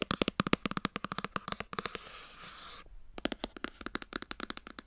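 A white cardboard iPhone box is turned in the hands while long nails tap and scratch its sides and edges. Quick, dry, hollow taps with almost no ring come in a rapid patter, then a steady bright scratch runs for almost a second. After a brief silence, the fast tapping resumes.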